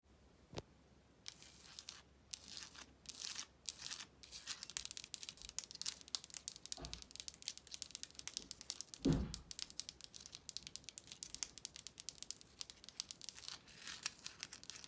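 Long almond-shaped acrylic nails scratch and tap across pink embossed paper wallpaper with a raised shell pattern on a wall with solid backing. Dense, bright, crinkly scratching rasps on and off throughout, broken by a few duller, lower taps against the wall.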